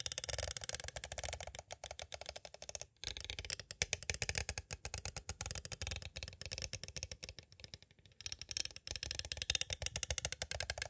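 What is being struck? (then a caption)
Plastic cassette tape case. Two green plastic stick tools tap rapidly on the edges of a small, hollow, clear plastic cassette tape case. The result is a dense stream of sharp, bright plastic clicks with almost no ring, pausing briefly around the 3- and 8-second marks.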